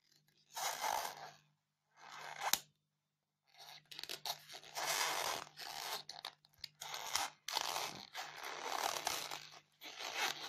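Long painted fingernails scratch and dig into the top surface of a solid white polystyrene foam block. The result is bursts of bright, crunchy, squeaky scraping separated by short silences. A faint low hum runs underneath.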